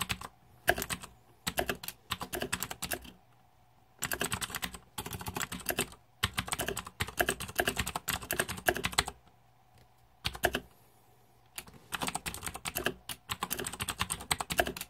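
Fingertips type on the plastic keycaps of a green-backlit Razer 2014 Deathadder mechanical keyboard. Bursts of rapid, sharp, bright clacks come in quick runs, separated by short pauses where a faint steady hum remains. Each keystroke dies away almost instantly.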